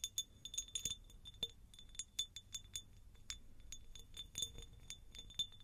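A textured, pineapple-shaped glass jar is tapped with the fingers, giving a quick, irregular series of light clinks. Each tap is bright and high-pitched and dies away almost at once over a faint low background.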